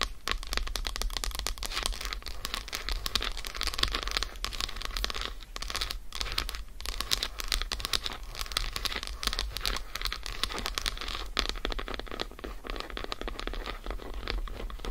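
Long acrylic nails of both hands scratch and tap quickly across the squares of an unwrapped solid dark chocolate bar lying on a fur rug. The result is a dense, steady stream of bright, crisp clicks and crinkly scratching over a low, constant rumble, with each tap dying away almost instantly.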